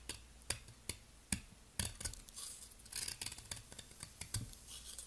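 A utility knife blade scrapes and shaves the surface of a palm-sized, solid turquoise soap ball (possibly a bath bomb) held in a long-nailed hand, and powdery flakes fall away. Short, sharp, crisp scraping strokes carry bright, high, hissy grit and a soft low thump at each cut, with no ringing afterward. The strokes come in an uneven rhythm, with denser rasping shaves in between.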